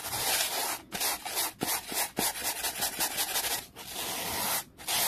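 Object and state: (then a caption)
Wooden board being brushed. A small, solid, flat wooden board resting on a towel is scrubbed fast with a black-bristled brush. The sound is a bright, hissing rub of bristles in quick, uneven strokes, with brief gaps between bursts and a few sharper scraping accents.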